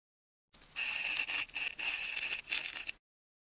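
A metal craft knife tip scratches and scores the surface of a hand-sized solid ball of wound pink, white and orange adhesive tape held in one hand. It makes a bright, hissy scraping with a high squeaky edge, coming in several connected strokes with brief dips between them and almost no low end.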